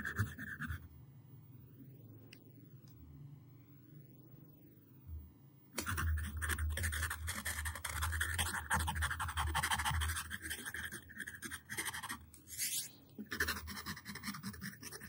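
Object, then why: Wooden pencil on a paper sheet. A yellow wooden pencil tip traces over drawn letters on a flat white sheet of paper lying on a table, scratching the paper. A brief dry scratch opens the clip, then it falls to a quiet stretch with a faint low hum before the scratching returns louder and denser at about six seconds. Rapid, uneven raspy strokes continue to the end, broken by short pauses.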